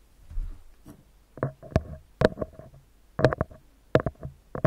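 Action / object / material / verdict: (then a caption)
tap / metal mesh microphone grille / metal mesh / none. Fingertips and nails of both hands tap on a small, round, hollow metal mesh microphone grille. After a soft, low rustle, a run of short, dry taps lands in irregular clusters, each giving a quick hollow knock with a faint metallic tone that dies away almost at once.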